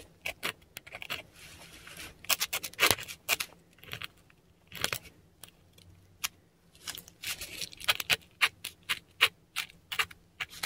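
A metal dip pen nib scratches kana strokes and dots in ink across a flat, textured Korean paper sheet. Dozens of short, dry, bright scratches and ticks come in quick irregular bursts, with brief quiet gaps and a faint low hum underneath.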